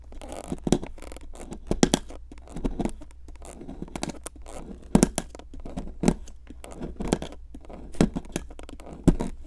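A metal pick with a wooden handle, held in long-nailed fingers, scrapes at a solid pink plaster excavation block. Dry, gritty scratches repeat in short bursts, with sharper clicks as the tip catches the plaster. The sound is close and low-to-mid heavy, with little bright content.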